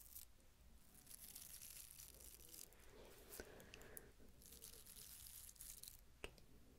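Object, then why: Small ribbed wooden cylinder. A small, hollow wooden cylinder with horizontal ridges, held in the hand, is scratched along its ridges with long manicured nails. The result is quiet, continuous rasping and scraping with bright, crackly texture, broken by a few sharper clicks near 3.4 and 6.2 seconds over a low background hum.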